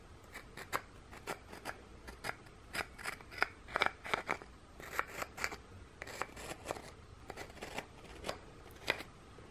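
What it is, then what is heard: Gingerbread cookie being scratched. Fingernails scratch the textured back of a flat, solid, scalloped gingerbread cookie held up in one hand while a second gingerbread piece is held in the other. About two dozen short, dry, crisp scratches sound in quick irregular bursts, bright and rasping with little low end. The overall level stays quiet.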